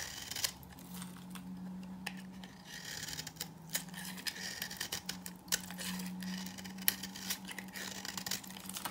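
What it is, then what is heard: Dry bar soap being scraped and cut. A green-handled knife scrapes and cuts into a hand-held, hand-sized bar of old, dry green soap, flaking dry shavings and crumbs onto the table. Many short, crisp scraping clicks and crackles with bright high-end texture sound over a steady low hum.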